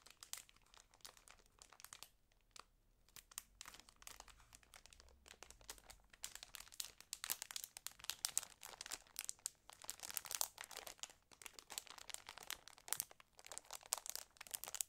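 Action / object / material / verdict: scrape / thin clear plastic wrapping around a flat pack of paper bags / cellophane plastic / none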